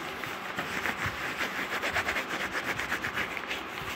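Soft yellow fleece-like fabric, a flexible textile with no hard parts, is bunched and rubbed with the hands and fingers close to the microphone. It makes a steady, airy rustle with quick small swells of brushing. The sound sits mostly in the mid-to-bright range with almost no low end.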